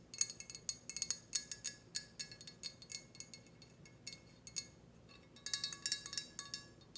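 Long red nails tap a hollow, glossy red ceramic teapot with a spout and handle, producing about thirty quick, bright clinks with a very short ring. The taps come in scattered bursts, fall quieter and sparser near the five-second mark, then pick up into a denser flurry.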